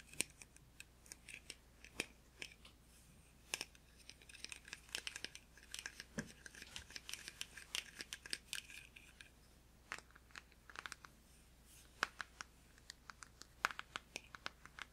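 A blue plastic deodorant stick, held in one hand, is tapped with fingertips and nails. Dozens of quick, dry, bright clicks come in irregular bursts and scattered single taps, each dying away almost instantly. The clicks are quiet, with almost no low end.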